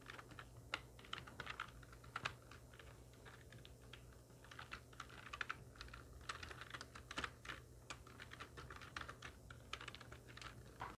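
A full-size black plastic computer keyboard with hollow keys, resting on a wooden desk, is typed on rapidly with the long nails and fingertips of both hands. The result is a dense stream of short, bright, clicky key taps with uneven loudness over a steady low hum.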